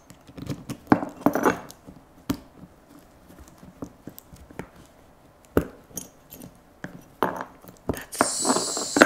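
A large, hollow, black hard-plastic rifle case lies across a lap while cotton-gloved fingers work and tap its plastic latches and lid edge. It makes a string of sharp, dry clicks and knocks with brief clattery bursts, and each sound dies away almost instantly. Near the end comes a sustained bright scraping hiss.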